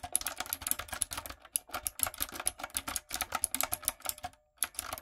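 Long nails and fingertips type quickly on a retro typewriter-style backlit mechanical keyboard with round plastic keycaps. The keystrokes are sharp, bright clicks and clacks with almost no ring. They come in an uneven, rapid stream, pause briefly near the end, then resume.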